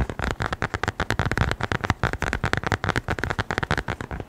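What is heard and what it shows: A small, closed brown leather-covered notebook or wallet, held in both hands, is tapped and scratched with the fingertips and nails. A fast, steady run of short, dull taps follows, each dying away almost at once, with most of the energy low and little brightness on top.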